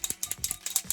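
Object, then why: Spray foundation bottle. A spray foundation bottle in the shade taffeta is shaken to mix its liquid contents, producing a quick series of bright, clicky rattles. The sharp, high ticks decay almost instantly, with almost no low end.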